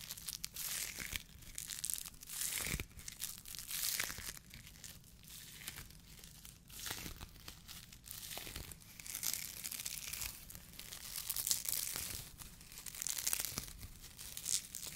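A white polyethylene foam mesh sleeve, a fruit protection net, is squeezed, stretched and rubbed with the fingertips. The result is quiet, bright crinkling and crackling that comes in dense bursts and swells over the whole clip, with brief squeaks and little low end.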